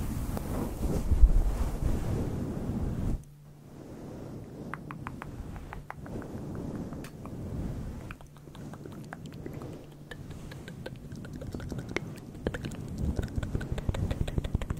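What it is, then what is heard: Faux fur microphone windscreen being scratched. A grey and white fluffy synthetic faux fur microphone windscreen is rubbed and scratched with fingertips and long nails. The result is a deep, muffled low rumble, loud for the first three seconds and then quieter. Sharp scratchy ticks and crackles are scattered over it in an uneven rhythm.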